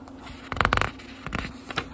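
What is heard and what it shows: Fingertips rub and turn the thin paper pages of a small, thick book. Soft, dry rustling and crinkling come in short bursts, a cluster of brighter swishes near the start and two quieter page flips after it, over a faint steady low hum.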